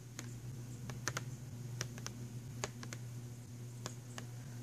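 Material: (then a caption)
Cardboard. Fingernails tap rapidly on the cover of a filled, printed cardboard box of pastel pencils. The taps come as short, sharp, bright clicks in quick irregular bursts that die away almost instantly, over a steady low hum.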